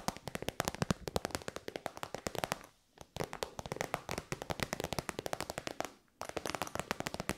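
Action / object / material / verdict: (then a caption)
tap / metallic synthetic faux-leather pouch / faux leather / none. Long white nails tap fast on a shiny, hollow pink metallic faux-leather synthetic pouch. The result is crisp, dry clicks in three rapid bursts separated by two brief pauses.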